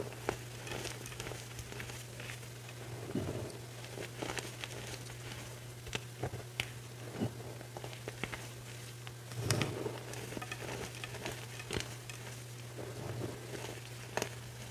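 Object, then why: Block of gym chalk (magnesium carbonate) crumbled by hand. Hands press into a large, dry mound of crushed white gym chalk powder (magnesium carbonate) on a plate, squeezing and crumbling handfuls between the fingers. Soft, crunchy crackles and scattered sharp, bright clicks sound over a steady low hum.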